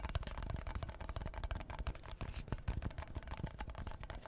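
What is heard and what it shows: Fingertips and nails rapidly tap and scratch the clear plastic lid on top of a tall cardboard Pringles can. The result is a quick, dense run of soft, dull, low-heavy taps with dry scratchy rustle between them, each hit dying away almost at once.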